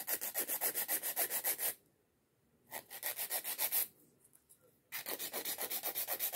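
Long coffin-shaped acrylic nails are shaped with a white emery nail file with pink edges, giving a rapid back-and-forth filing scratch. About 25 bright, rasping strokes come in three bursts, separated by two quiet pauses.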